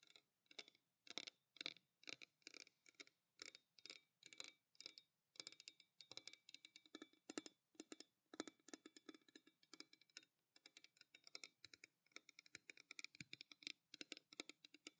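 A pale green stainless steel tumbler with a steel cap, held close and tapped quickly with long nails, gives a long run of crisp, bright clicks with a faint metallic ring. The taps come in quick bursts and clusters, each dying away almost at once, with little low end.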